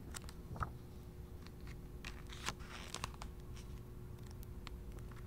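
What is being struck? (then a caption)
Paperback book with glossy paper pages. Fingers turn and flip the glossy pages of a handheld paperback travel guidebook, producing soft paper rustles and crinkles with a few sharper, bright page snaps. A faint steady low hum sits beneath the quiet rustling throughout.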